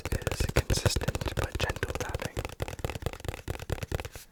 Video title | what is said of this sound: ASMR consistent tapping (fast but gentle) | it has the shaky sounds on the inside